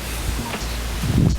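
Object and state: Nothing is struck.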